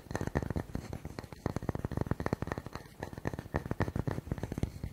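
A round, solid wooden log slice with a bark rim is held in both hands and tapped and scratched quickly with fingertips and nails. The result is a dense, fast run of short, dull, woody knocks with a low body and very little ring, mixed with soft scratchy rasps between taps.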